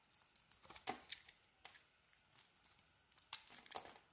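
A utility knife blade carves a solid teal bar of soap with a cream interior, shaving off thin curls. The cuts make soft, crisp scraping and crackling sounds in short, bright bursts, with quiet pauses between strokes and a few sharper snaps.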